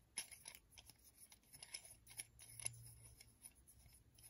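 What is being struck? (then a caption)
Steel screw clamp thread. Fingers turn the threaded steel screw of a metal screw clamp with a black handle, scraping along the thread. A quiet, rasping metallic sound comes in a string of short, bright scrapes and ticks.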